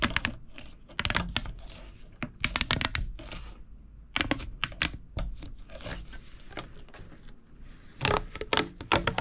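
A hollow purple corrugated plastic pop tube is compressed and rolled under the hands on a wooden table. It gives clusters of quick, dry, bright crackling clicks and snaps with a low thumping undertone. Busy bursts are separated by short, quieter stretches of soft rustling.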